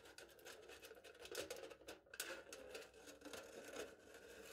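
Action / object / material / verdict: scrape / aluminium foil stretched over a hollow cup / aluminium foil / none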